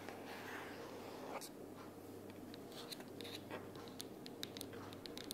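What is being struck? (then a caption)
Cardboard sticky-notes box. Long purple natural nails tap and scratch along the sides and edges of a closed pink printed cardboard sticky-notes organizer box lying flat on a wooden table. Quiet, soft scratching runs throughout, dotted with short, bright, dry clicks from the nail taps over a faint low hum.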